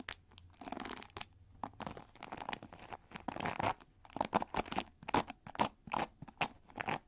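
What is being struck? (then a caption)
Plastic cushion hair brush with pin bristles. Fingernails flick and scratch the pin bristles of a pink plastic cushion paddle hair brush held over the microphone. A rapid series of dry, crunchy scratches and bright plastic clicks comes in short bursts, with a rustly, crinkling texture between them.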